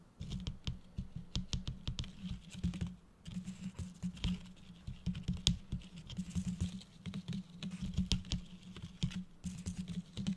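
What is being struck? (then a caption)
Decorative gift box covered in plastic tinsel with a foil bow. Fingertips and nails tap and scratch the gold holographic foil bow and the red and gold plastic tinsel on a medium, hollow-looking Christmas gift-box decoration. The result is a dense run of quick, light taps mixed with crinkly, bright rustling. A steady low hum sits underneath, briefly dropping out around the three-second mark.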